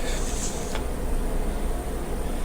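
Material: Nothing is struck.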